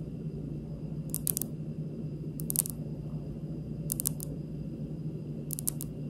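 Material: Stone.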